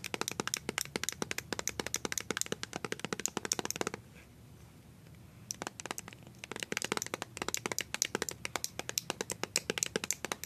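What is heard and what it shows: Long nails fitted with colored coated-wire paper clips tap rapidly on a small white plastic BB cream squeeze tube with a blue cap that appears filled with cream. The result is dozens of sharp, bright, clicky taps with almost no ring. They pause into near silence for about a second and a half around the middle, then pick up again in quick bursts.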